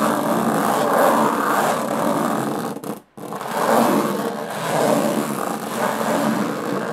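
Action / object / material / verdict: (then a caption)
scrape / small aluminum case with textured metal lid / aluminum / none. Long fingernails scratch the textured metal lid of a small, hollow aluminum briefcase. This produces a continuous, rasping scrape concentrated in the low-mid to mid range, with faint bright hiss above. The scratching breaks off into near silence for a moment around the three-second mark, then resumes at a similar level.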